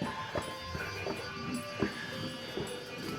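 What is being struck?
Nothing is struck.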